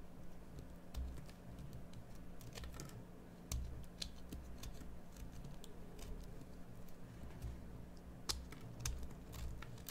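A small metal blade cuts and scrapes into a solid bar of green soap, making a run of quiet, dry, crisp scraping clicks with bright ticks. A steady low hum sits underneath throughout.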